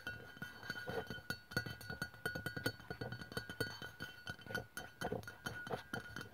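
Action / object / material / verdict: tap / aluminium aerosol deodorant can / aluminium / none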